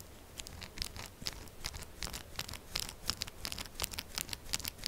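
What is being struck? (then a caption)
Textured soap bar. Long acrylic nails rapidly scratch and tap the textured sides of a solid pink soap bar held upright. A quick run of short, bright clicks and dry scratching strokes crackles over a faint low rumble, each sharp tick stopping almost instantly.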